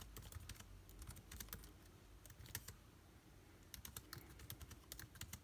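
Fast, light typing with the fingertips of both hands on a backlit MacBook Air keyboard with plastic keys produces rapid, crisp clicks with bright, short-lived tops. The clicking comes in bursts with a brief lull just before the middle, over a faint low rumble.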